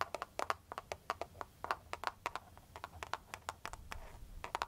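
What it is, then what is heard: Plastic phone case tapped with nails. Long foil-covered pointed nail tips tap and scratch a clear plastic cartoon-print case on a smartphone held near the face. About 26 quick, dry clicks ring around 1.2 kHz with bright edges and die away almost instantly, with faint scratching between them.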